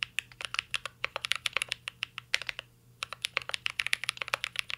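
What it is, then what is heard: Mechanical keyboard with plastic keycaps. A mint-green Cyberboard R3 mechanical keyboard with a metal case and plastic keycaps is typed on continuously with the fingertips. About 35 short, bright, clacky keystrokes centered near 2 kHz die away almost instantly, with a brief pause just before the 3-second mark before the typing resumes.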